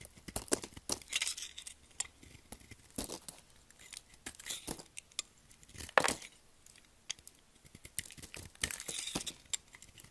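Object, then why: Bar of soap. A solid pink oval soap bar, held in a hand with long nails, is carved with a red utility knife as curls peel off. Quiet, bright, crisp scraping and crackling cuts come in short bursts with brief pauses between strokes, and one sharper snap stands out near the middle.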